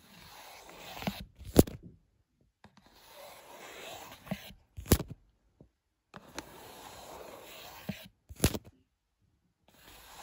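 Fingertips tap and rub the top of a small printed cardboard box of Lungo coffee capsules with a clear window, lying flat on a bed sheet. Soft, dry scratchy rubbing comes in three stretches, each punctuated by sharp, quick taps that stand out above the rubbing, with short silences in between.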